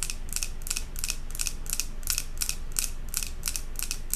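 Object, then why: Glass jar candle with metal lid. Long acrylic nails rapidly tap and scratch the glass sides of a large glass jar candle filled with solid white wax and topped with a silver metal lid. The result is a fast, fairly steady run of short, bright clicking bursts with brief scratchy tails over a constant low background rumble.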